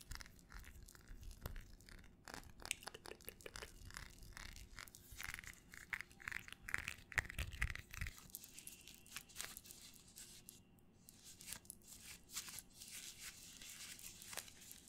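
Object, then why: Small textured glass perfume bottle. A small red textured glass perfume bottle with a black cap is held in both hands and tapped with long nails. Quick, irregular light taps give bright, short glassy clicks and clinks that die away almost at once, over a soft low rumble.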